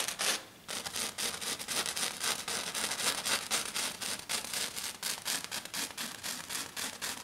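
Long dark fingernails scratch fast and hard across a flat silver glitter sheet, likely glitter foam, in rapid repeated strokes. The sound is a bright, dry, gritty rasp with almost no low end, pulsing at about four strokes per second with uneven spacing.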